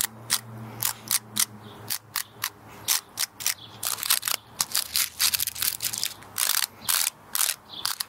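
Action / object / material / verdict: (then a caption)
flick / pinecone with woody scales / wood / none. Long nails run across and flick the woody scales of a small, dry, brown pinecone, solid and held in both hands. The result is a repeated clicking scratch of 27 sharp, bright, dry clicks with almost no low end and no ring, over a faint low hum.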